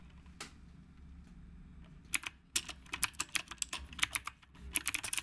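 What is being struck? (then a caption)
Mechanical keyboard with round plastic keycaps. Fingertips of both hands type on a retro typewriter-style mechanical keyboard with round plastic keycaps. After a single early click and a quiet pause, a run of about 19 sharp, bright clacks follows in quick, uneven succession. Each keystroke is a crisp, short tap with almost no ring.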